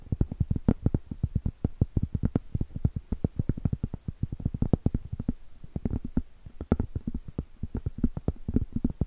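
Cork is tapped in a rapid, steady stream of short, dull knocks that stay low and muffled with almost no ring. The tapping runs continuously at an even level, with only brief thinner gaps.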